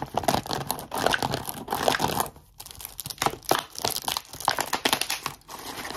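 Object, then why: Thin plastic water bottle. An empty, crumpled, hollow clear plastic water bottle with a blue plastic cap is squeezed and crinkled, then tapped and scratched with short nails, including on the cap. The result is a fast, dense run of sharp crackles, crinkles and clicky taps with bright, hissy highs. A brief quieter gap falls in the middle.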